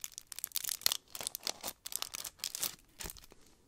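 Long nails scratch and crinkle the red foil wrapping of a hand-sized chocolate Santa figure close to the mic, possibly starting to unwrap it. The result is a quick series of bright, crackling foil rustles and crisp tearing-like bursts, almost entirely high-pitched with very little low end and no lingering ring.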